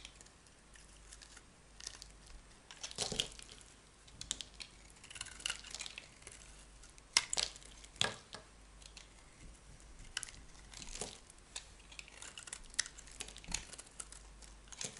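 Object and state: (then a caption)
Bar of soap being carved. A metal utility knife blade carves and scrapes flakes off a solid, dry cream bar soap held in the hand. Quiet, bright, crackling scrapes and crisp shaving strokes come in irregular bursts, with a few sharper cuts standing out.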